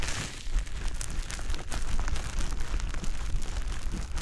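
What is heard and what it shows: A small, soft, pale-green teardrop-shaped wet konjac fiber sponge is held in the fingertips, rubbed and pressed against the silicone ear of a black dummy-head microphone. It makes continuous squishy, crackly contact sounds, with a dense low rumble under bright wet crinkles.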